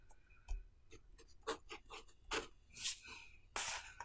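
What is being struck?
Pen on a paper notebook page.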